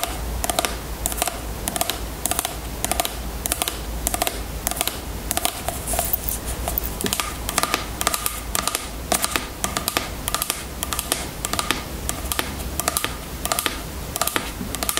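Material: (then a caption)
Plastic. Long fingernails tap and scratch a small, full, clear plastic bottle of jojoba oil and its label while the bottle is held upright on a table. The result is a quick, steady run of short, bright clicking taps with a hollow tone around 1.2 kHz, each dying away almost at once. Soft scratchy rustling and a faint low hum sit underneath.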